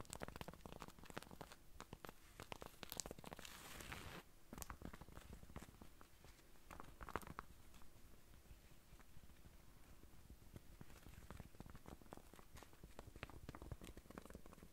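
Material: Corduroy.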